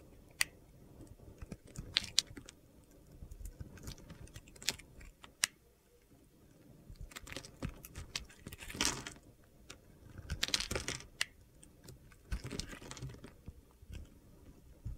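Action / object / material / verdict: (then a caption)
scrape / soap bar shaved with a metal blade / soap / none. A metal utility knife blade shaves flaky slices off a solid light blue bar of soap held in the hand. It makes quiet, bright, crunchy scraping strokes with sharp clicks and gritty crackles between brief pauses.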